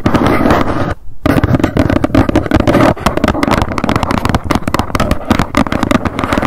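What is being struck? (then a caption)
Small cardboard box. Long nails tap rapidly on the front of a small, hollow white cardboard box standing upright. The result is a dense, continuous stream of dull, hollow knocks with a low-mid body, broken by one brief pause about a second in.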